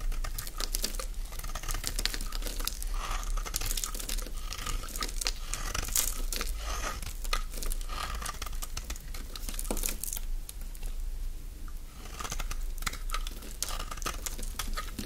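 A metal utility-knife blade shaves and scrapes curls from a solid, oval, green bar of dry soap held in the palm. The result is a dense, continuous run of crisp, crinkly scratching and crunching with bright, papery detail over a steady low hum. The scraping eases briefly around the middle before picking back up.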